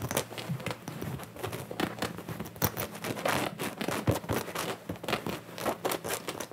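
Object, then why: Denim cotton jacket worn on the body. Both hands scratch and rub the soft fabric on the chest of a worn, sherpa-collared blue denim jacket with fingertips and nails, a white earphone mic cable hanging nearby. The result is a steady, close stream of dry scratching and rustling with frequent short, bright crackly bursts over a faint low hum. Each burst stops almost at once, with no ring.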